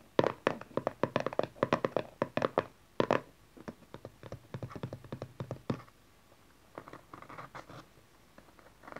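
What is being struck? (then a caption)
Small cardboard card deck box. A small, dark cardboard tarot card deck box lies flat while fingertips and long nails tap and scratch its cover and edges. Quick, irregular, dull papery taps with almost no ring come first, then softer scratching and lighter taps after a brief quiet pause.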